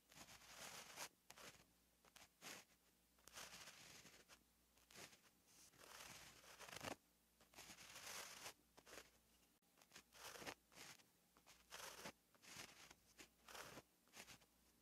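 A gel pen writes handwriting strokes on a flat, lined paper notebook page, its tip scratching across the paper. The sound is a quiet, bright, papery scratching in short bursts and longer strokes, with brief pauses between words.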